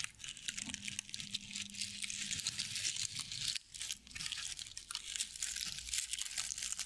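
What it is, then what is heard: Straw-covered owl figurine. A small, hand-sized decorative owl figurine covered in dry straw or sisal-like fibers is held in front of a fluffy microphone and scratched and rubbed with long painted nails. A dense, bright crinkling and crunching of dry fibers runs almost continuously, with a brief pause a little past the midpoint before the scratching resumes.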